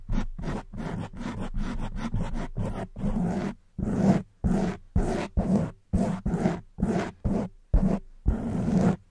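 Long white acrylic nails on both hands scratch a soft, porous black foam windscreen on a silver studio microphone. It makes a series of close, muffled, low-heavy rasping scrapes, quick and nearly continuous at first, then longer separate strokes with short silences between them.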